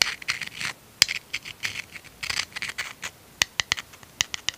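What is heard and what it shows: Fingertips and nails rub and scratch the surface of a small, hollow, empty white seashell held between the fingers of both hands. The result is a string of dry, bright scratching bursts and sharp ticks with almost no low end, separated by brief quiet gaps.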